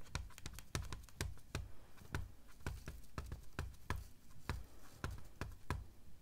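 Long dark fingernails tap and scratch along the front edge of a large, flat, white slab of solid styrofoam. A quick, uneven run of sharp, dry clicks cuts off almost at once, each with a soft low thud underneath and a faint bright tick on top, between quiet scratchy rustling.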